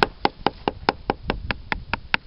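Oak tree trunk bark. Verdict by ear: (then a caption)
Hollow. Eleven quick, evenly spaced knocks are drummed on the bark of an oak tree trunk at a suspected crack, each giving a short, dry, hollow tap with almost no ring. The hollow sound marks a spot where the bark, once cut open, covers an older oak wilt pressure pad.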